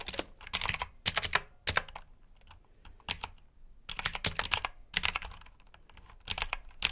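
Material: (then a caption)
Plastic. Fingertips type on the plastic keycaps of a black backlit mechanical keyboard, producing bursts of quick, bright clicky keystrokes separated by short pauses. Each click is sharp and dies away almost instantly, with most of the energy in the high range and little low thump.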